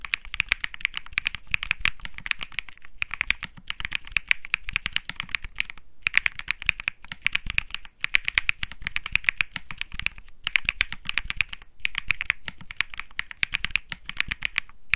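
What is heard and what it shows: Fingertips type continuously on a compact 65% Think 6.5 mechanical keyboard with Bsun Lollipop switches, beige and grey plastic keycaps, and a PC plate. The result is a dense stream of short, crisp clacks centered around 2 kHz with a soft low thump beneath. Only brief pauses break the rhythm, and each keystroke dies away almost instantly.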